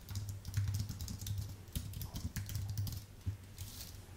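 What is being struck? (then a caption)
Computer keyboard with plastic keys on an aluminium base. Fingertips type steadily on a white full-size Apple Magic Keyboard with plastic keycaps on an aluminium base. The quick, soft key clicks run close together, with bright ticks over a steady low hum near 100 Hz.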